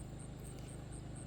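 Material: Nothing is struck.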